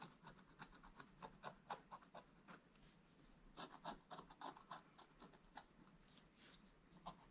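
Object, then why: Scratch-art coated paper with wooden stylus. A wooden stylus scratches quick strokes across a black coated scratch-art card, a flat thin sheet lying on a table. Each stroke makes a short, dry, rasping scrape with a bright hiss, repeating at an uneven pace with brief pauses between bursts.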